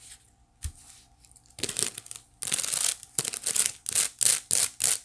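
Long nails on both hands scratch the flat woven face of a small, hollow white wicker basket held up toward the camera. Dry, bright, crackly scratching comes in short bursts with brief gaps, starting sparse and quickly growing into a steady, fairly fast rhythm. Each stroke stops dead with no ring.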